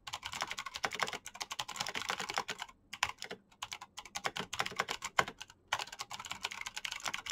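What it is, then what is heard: Plastic mechanical keyboard. Fingertips type very fast on a black plastic mechanical keyboard with clicky switches, producing dense bursts of sharp, bright clicks that stop dead with almost no ring. The rapid run breaks for brief pauses near 2.8, 3.5 and 5.6 seconds before the typing resumes.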